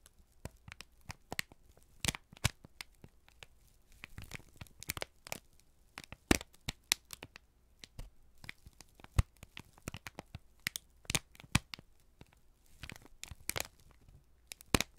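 A folded, crinkled brown kraft paper sheet held in both hands is squeezed and crumpled with the fingertips close to the microphones. Dense crackling and crinkling pops burst irregularly across a broad range up to bright highs, with short sharp snaps standing out over a quiet background.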